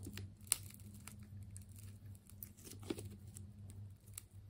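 A utility knife blade slices into a hand-sized ball of wound purple and blue plastic tape, producing quiet crinkling and tearing with sharp, bright snaps. A steady low hum runs underneath throughout.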